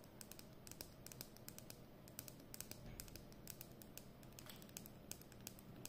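Long nails tap and scratch along the hollow plastic barrel of a capped Edding 300 permanent marker held horizontally. Quick, light clicking taps with bright, sharp edges come in an uneven patter over a soft, low scratchy rustle. Each tap dies away almost instantly.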